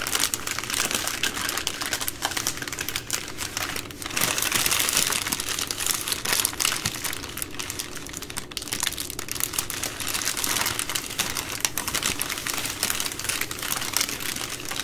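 Long green nails tap and scratch across a plastic-wrapped multipack of baby wipes, a bundle of three full soft plastic packs resting on a table. Dense, bright crinkling and quick ticking taps run continuously, with slight swells in intensity and no pauses.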